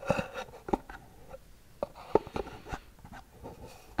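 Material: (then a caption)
Cardboard. A small, hollow white cardboard gift box with a gold band is held in both hands and scratched and tapped with long nails. Short, dry taps with a papery, hollow knock around 420 Hz stand out over soft, faint scratching, each dying away almost instantly in a quiet, close space.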